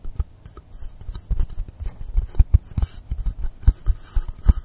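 Fingernails scratch and tap the top surface and edge of a long, solid blue polystyrene foam block lying angled on a table. A quick, irregular run of dull, low knocks mixes with dry scratching and faint high hiss. Each tap stops almost at once with no ring.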